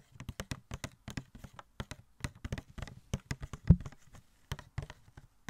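A small, hollow cardboard Elastigirl Funko Pop box with a plastic window is held up to the mic and tapped and knocked with fingertips and nails. The result is a quick, irregular run of short, dry taps with hollow, low thuds and light clicky edges, with one stronger knock just past the midpoint.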